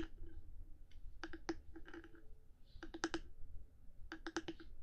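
Long nails tap and click on the top of a black 3Dio binaural microphone's hard housing, one hand tapping while the other sometimes moves away. Sharp, dry clicks come in three quick bursts, each click short with a hollow tone near 330 Hz, over a low, steady rumble.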